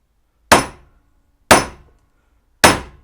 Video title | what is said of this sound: Building the Best Damn GMC Motorhome Ever E.24 - Upper A-arms | it doesn't move it just goes thud and stays right down